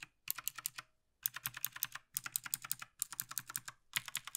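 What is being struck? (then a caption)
Plastic mechanical keyboard keys. A gloved hand taps the keys of a black plastic Logitech G PRO TKL tenkeyless mechanical gaming keyboard with its fingertips, working across the top rows and the right side. The result is rapid runs of sharp, bright plastic clicks with almost no ring or low end, about 29 keystrokes in bursts separated by short silent pauses.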